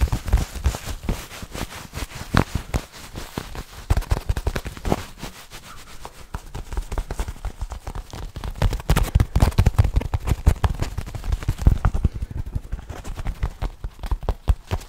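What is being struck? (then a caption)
Soft fabric pouch. Fingertips and nails scratch and rub a soft black fabric headphone pouch held close to the microphone. The result is a dense, continuous stream of crackly, muffled scratches and thumps, heavy in the low end. The scratching eases slightly around the middle, then grows louder and busier before tapering off.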